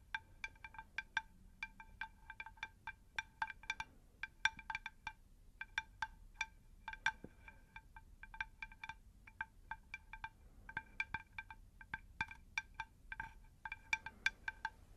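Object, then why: Shallow terracotta pot saucer. A round, shallow, plate-sized terracotta pot saucer is tapped with long nails in quick, uneven bursts of light clicks. Each tap gives a bright, bell-like ring with clear tones around 900 Hz, 1.6 kHz and 2.4 kHz that fade almost at once, sounding like a wind chime.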